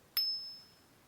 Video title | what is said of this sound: YoyoFactory Turntable - Unboxing and Honest Yoyo Review | Now, this is made of 7075 aluminum, and makes a great ping when you flick it.